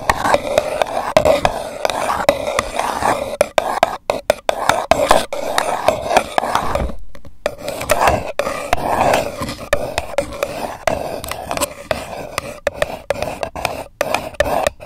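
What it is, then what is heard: Paper cup. A single empty purple paper cup, hollow and thin-walled, is held against a microphone grille and scratched and tapped with long acrylic nails. Dense, rasping scratches and quick clicking taps carry a hollow, papery resonance around 670 Hz, with a brief near-silent gap around the 7-second mark before the scratching resumes.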